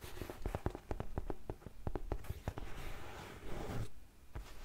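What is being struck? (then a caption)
Faux suede ankle boot. Long nails tap and scratch the suede upper of an empty grey faux suede heeled ankle boot with a buckle. A quick run of soft, dull, low taps gives way to a brief rasping scratch across the suede, then one last tap. Each tap is muffled and dies away at once.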